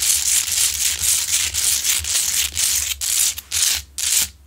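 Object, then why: Large rough rock-salt lamp. Long nails scratch the sides of a large, lit Himalayan salt rock lamp, a solid, rough pink salt crystal. The result is steady, bright, hissing scratching strokes at about two per second, with brief silent gaps between the last few strokes.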